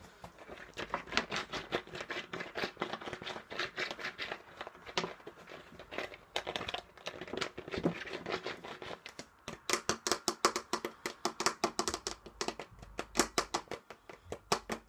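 A large, empty, hollow clear plastic soda bottle with a pink label and a purple cap is held sideways in both hands. Fingers tap and squeeze the thin plastic and the cap, making sharp crinkling crackles and quick taps. The taps turn into a faster, brighter run of clicks in the second half.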